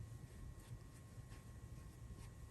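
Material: Nothing is struck.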